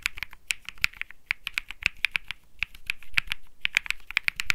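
Fingertips type continuously on a cream Think 6.5 mechanical keyboard with Bsun Lollipop switches and plastic keycaps. About 26 quick, dry clacks ring out with a bright tone near 2.4 kHz. Each key press dies away almost instantly, with faint low thumps underneath.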